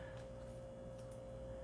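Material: Nothing is struck.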